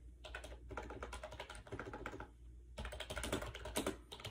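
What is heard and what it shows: Fingertips rapidly type on a compact gray plastic AJAZZ 308i wireless Bluetooth keyboard with round keycaps and a hollow shell, resting on a bed. Quick, light clicking taps run in bursts, with short pauses near 0.6 and 2.5 seconds, over a faint low hum.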